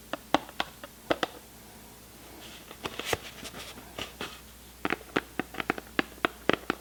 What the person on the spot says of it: i love the tapping sound that it makes